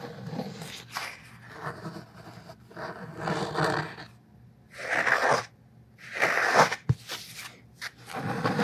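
Fingertips and nails tap and scratch the cloth cover of a thick black hardcover Tolstoy book held in one hand. Uneven bursts of dry, scratchy rustling rise and fall, broken by short silent gaps. A single sharp tap cuts through near the end.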